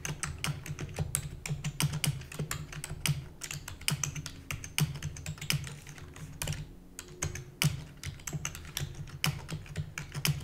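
Rapid typing with long natural nails and fingertips on a full-size black plastic keyboard with hollow keys. A steady stream of quick, hollow taps is heard, with a low thudding body and bright clicky edges on each keystroke. The taps die away almost at once, leaving a dense, continuous patter.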